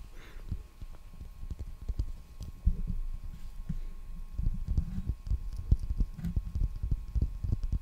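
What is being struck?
Roll of plastic packing tape on a cardboard core.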